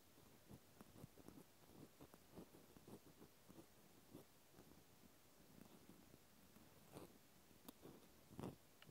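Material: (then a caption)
Plastic. A cotton swab tip scratches inside the hole of a pink plastic clothespin, close up. Soft, dry scratching and rubbing comes in short irregular bursts, mostly low with faint bright edges, and a few slightly louder scrapes stand out near the end.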